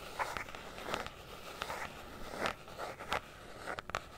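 Long nails tap and scratch a closed, hollow, rectangular black hard-shell zippered carrying case, held in both hands above the mic. The handheld-console-size case has a molded, fabric-covered EVA look. Quiet, bright, clicky taps with a short ring stand out over a soft scratchy rustle, spaced irregularly throughout.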